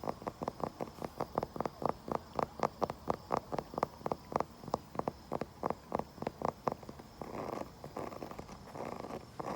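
A wooden surface outdoors is tapped in a quick, steady series of short, dry knocks with a mid-range tone. Around the seven-second mark the tapping gives way to a rougher, continuous scratching across the wood.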